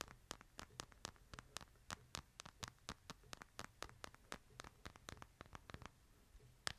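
Fingernails tap and scratch a light plastic case on a smartphone held upright in both hands, giving a quick, uneven run of about thirty short, dry, bright clicks. Each tap dies away at once over a faint low hum and soft scratching.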